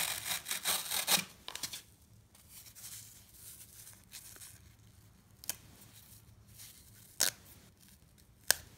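A solid block of green phenolic floral foam with scooped holes, crumbly, is held in one hand and sawed with a serrated knife, giving a fast burst of bright, dry rasping strokes that fade into quieter, gritty crumbling scrapes. Three sharp, crisp snaps stand out near the end as a piece is torn off by hand.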